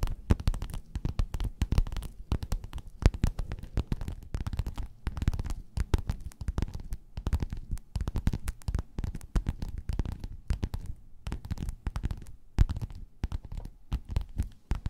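Long nails scratch and tap a flat, padded, gold, quilted metallic faux-leather cover. A dense, steady stream of short, dry, muffled thuds and scratchy rustles fills the clip, sitting mostly in the low end with quick crackly transients and almost no ring.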